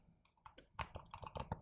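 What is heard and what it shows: Light, quick taps on a small "Gold" game box with a somewhat metallic finish make a series of soft, dry clicks. The strikes start faint and grow a little louder, each one short with almost no ring.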